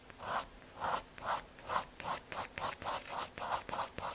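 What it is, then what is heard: MDF board (pencil drawing). A graphite pencil scratches back-and-forth hatching and shading strokes across the surface of a small square of thin, solid brown MDF fiberboard. About 11 soft, papery rasping strokes are heard, each centered in the midrange with a bright hiss on top, separated by brief quiet gaps at an uneven pace.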